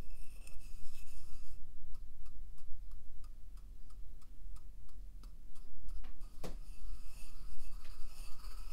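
A wooden pestle crushes and rubs salt inside a hollow, carved wooden mortar held at waist height. Gritty grinding opens the clip, then gives way to a steady run of quick, crisp taps with a sharper crack near the end. It closes with scratchy rubbing over a low, constant hum.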